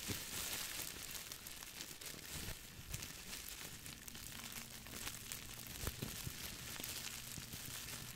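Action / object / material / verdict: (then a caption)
scrape / plastic bubble wrap / plastic / none. A small, hand-sized, crumpled piece of clear plastic bubble wrap with hollow air bubbles is squeezed and crinkled with fingertips. It makes a steady, bright, dense crinkling with occasional sharper crackles over a faint low hum.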